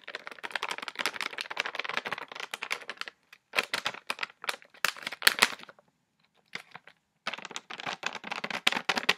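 Long fingernails rapidly tap and scratch an orange, hand-sized Reese's Pieces stand-up pouch made of glossy plastic foil and filled with candy. Dense bursts of dry, crisp, bright clicks and crinkly scratches come in quick flurries with short pauses between them, and they carry almost no low end.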